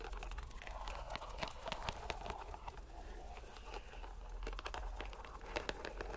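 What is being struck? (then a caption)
Rubber stress ball in a mesh net. Fingers squeeze a purple rubber stress ball inside a white mesh net, making bubbles of rubber bulge out through the netting. The sound is a quiet, continuous stream of soft crinkling and squishing, with short bright ticks and crackles over a steady low rumble.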